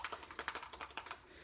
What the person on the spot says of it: once you have it shooked up pretty good and you hear that little ball in there shaking it up